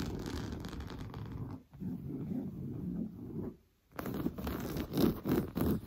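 Medium-length blue-painted nails on both hands scratch fast at a large, soft, stuffed sofa cushion covered in orange coarse-weave fabric. The result is a dense, low, rustling scratch that briefly drops to near silence twice, then returns louder and choppier.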